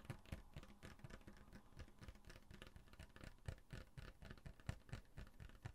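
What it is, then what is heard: Glass bottle tapped and scratched. A full brown glass Coca-Cola bottle with a label is held in one hand while fingernails tap and scratch across the label and glass. The result is a quiet, irregular stream of soft, dull taps and scratchy brushing, with low thumps under brighter, short scraping bursts.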